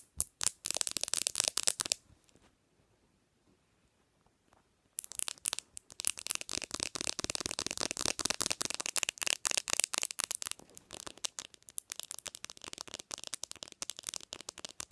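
Long nails rapidly tap the glass screen of a bare black smartphone resting on a pillow, making dense, bright, dry clicks. After a quiet pause of about three seconds, the fast tapping resumes and continues to the end as the nails also grip the phone's edges.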